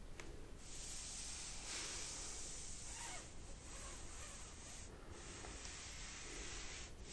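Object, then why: Plastic laptop lid. A closed black plastic laptop lid, a flat hollow device, is rubbed with a wet wipe held under fingertips with long painted nails, and a cloth is held in the other hand at the end. A steady, bright, hissing rub with a soft low rumble continues throughout, briefly dropping off near the 5-second mark and again at the very end.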